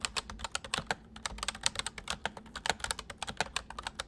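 Fingertips of both hands type steadily on a white full-size plastic MSI mechanical keyboard with hollow keys. About 28 quick, bright, hollow clacks follow one another, each dying almost instantly, with little low end beneath them.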